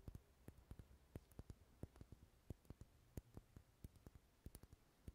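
Fingernails tap and scratch the textured side of a lit, dark red solid wax pillar candle held in the hand. Quick, dry, irregular taps sound over a soft low rustle, with each tap dying away almost instantly.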